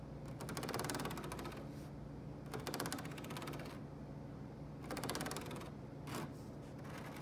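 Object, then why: Woven rattan cane chair back. Fingernails rapidly tap and scratch the woven strands of thin, flexible open-weave rattan cane webbing set in a carved, light-colored chair back. The sound is a quick, fine rattling patter that comes in several bursts, separated by brief quieter moments over a steady low background hum.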